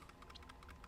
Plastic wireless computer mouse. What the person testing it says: very little rattling whenever you shake it and when you're using it you don't hear anything at all